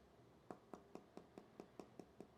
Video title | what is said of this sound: Did Apple Make Their All New Titanium iPhone 15 Pro Max Fragile? | now if I do the same thing in the 15 Pro Max it sounds very Hollow